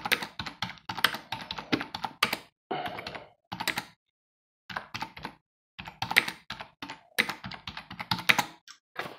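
Fingertips of both hands rapidly type on a black plastic computer keyboard with a hollow housing, resting on a wooden desk. Quick, bright, clicky keystrokes come in dense bursts, with short pauses between runs and a longer silence midway.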